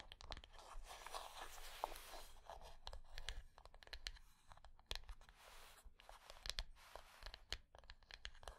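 Long nails scratch and tap the top of the lid of a closed, small rectangular hollow wooden box resting on dark cloth. Bursts of bright, raspy scratching alternate with many quick, dry taps that die away almost instantly, over a soft low rumble.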